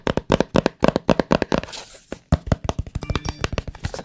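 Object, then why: Small cardboard box. Fingertips and nails tap and scratch the faces of a small, hollow, white cardboard AirPods Pro box held close to the mic. About thirty quick, dry, hollow taps come in bursts, with a short stretch of softer scratching partway through. Each tap dies out almost at once.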